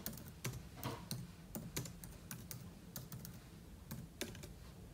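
Fingertips type on the plastic keys of a silver aluminum laptop keyboard, with an open book lying untouched beside it. Quiet, irregular taps come in uneven bursts, each a short, soft low thud with a bright click that dies away almost at once.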